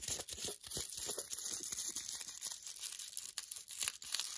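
Long nails fast-tap and scratch the glossy paper wrapper of an unopened foil-and-paper wrapped milk chocolate bar held in the hands. Quick, uneven crinkly taps and scratchy rustles follow one another, the sound mostly thin and bright with little low end.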